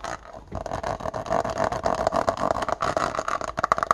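Fingernails tap and scratch along the lid edge and sides of a small, hollow, apparently empty index card box with a clear plastic body and white plastic lid, held in the hand. Quick, dry plastic clicks and scrapes run almost continuously, with a hollow midrange tone around 1 kHz and almost no ring after each tap.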